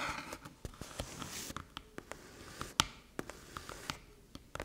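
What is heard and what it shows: Long metallic nails tap and rub the top and front edge of a small, flat, hollow aluminium USB-C hub resting on a dark table. A quiet, irregular series of sharp, bright clicks with very short ring stands over a soft scratchy rubbing.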